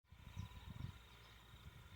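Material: Nothing is struck.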